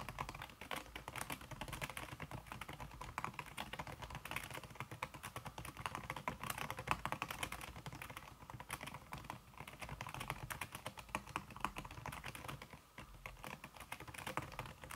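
Fast typing with fingertips and long red-painted nails on a thin backlit aluminium keyboard whose plastic keys sit under a red silicone skin. It makes a continuous stream of soft, dense tapping clicks with a bright edge and very short decay, with no pauses for the whole clip.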